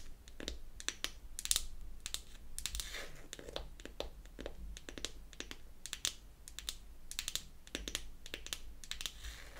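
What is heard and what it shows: A small, round, pink-painted wooden toy foundation compact, closed and held in the palm, is tapped and scratched on its lid with long acrylic nails. Quick, bright, dry clicks fall in an irregular typing-like rhythm, with soft scratchy rustling between them. Each tap dies away almost instantly, over a low, steady background rumble.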